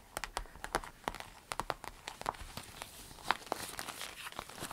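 A small, empty, clear orange vinyl zip pencil case with a smiley print is tapped and scratched by long nails while hands bend it. Quick, dry clicks and crinkly taps scatter across the clip with bright edges and a short crackle. Softer scratching and bending fill the gaps, like light rain on plastic.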